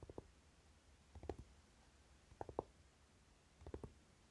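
Fingertips and short nails of both hands quickly tap the lid of a closed Naked eyeshadow palette with a dark velvety cover. The taps come in four short bursts of soft, muted, dull clicks with a low-mid body, each dying away almost instantly. Quiet pauses separate the bursts.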